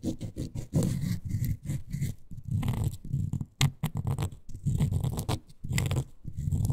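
Long nails scratch along the beige glittery faux suede fabric covering a miniature toy couch. The result is a series of short, rough rubbing strokes with a dull, low-heavy texture and faint bright hiss, some bursts louder than others.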